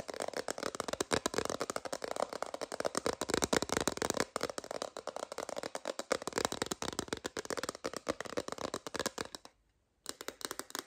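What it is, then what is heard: Clear plastic phone case. Long nails rapidly tap and scratch an empty, transparent plastic phone case held horizontally, making a dense stream of dry, crisp clicks and scratchy rustles with almost no low end. The taps continue at a steady pace, stop for about half a second near the ten-second mark, and then resume.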